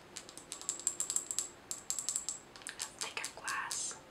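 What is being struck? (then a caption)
Glass jar with metal lid holding small items. A glass mason jar filled with small items, with a metal lid, is tilted and shaken while long nails tap on the glass and the lid. About 25 quick, bright taps ring with a thin high glassy tone, and a short rattling shake of the contents comes near the end.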